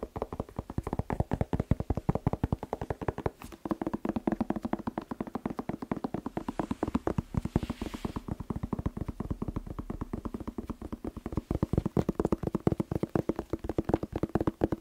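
A whole, fresh, hand-sized, hollow red bell pepper is tapped rapidly with fingertips and short nails. The result is a fast, continuous stream of short, dull, hollow taps with a low body around 170 Hz. Each tap dies away almost instantly.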